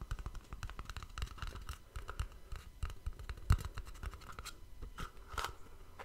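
A small, hollow white cardboard gift box with a ribbon bow is held in front of a microphone and tapped and scratched with fingertips and nails. Quick, dull, low thumps mix with dry scratchy clicks in a steady, busy rhythm, each sound dying away almost at once.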